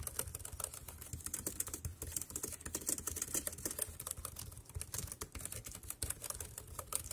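Fingertips tap the keys of a dark grey, compact, plastic wireless keyboard resting on a plastic sheet. The result is a steady stream of quick, dry clicks with a bright, clattering top and a soft low thump under each press. Each tap dies away almost instantly.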